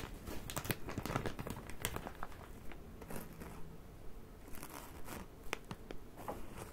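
A full plastic bag of cotton pads is squeezed, crinkled and scratched with fingertips and nails while being turned in the hands. The result is a steady, dense crinkle with a soft low body, broken by quick, bright plastic crackles and snaps that fade almost instantly.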